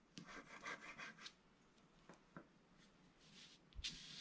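A wooden stylus scrapes the wax coating near the bottom of a flat scratch-art paper sheet. A quick run of bright, raspy strokes is followed by a few short isolated scratches separated by quiet pauses. It ends with a harsher, brighter scrape.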